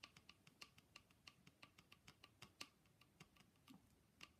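A painted wooden Russian matryoshka nesting doll is tapped with fingers. Twenty-three light, quick ticking taps sound in an uneven rhythm, each bright and dry with a short ring centered near 2.8 kHz.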